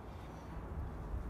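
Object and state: Nothing is struck.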